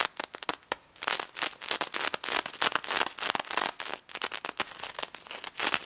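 Long nails scratch and tap across the plastic sequins of a pink stuffed pig toy. Dense, bright crackling bursts come in rapid, uneven runs with quick dry clicks and almost no low end.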